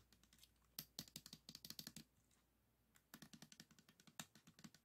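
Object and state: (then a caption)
Plastic puzzle cube. Fingertips and nails quickly tap the tiles of a 3x3 plastic speed cube, green face toward the camera. About 29 sharp, bright plastic clicks come in two rapid bursts with a short pause between them. Each tap dies away almost instantly, leaving a faint low hum underneath.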